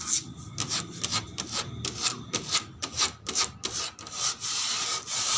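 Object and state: Plastic slide (scratched and tapped).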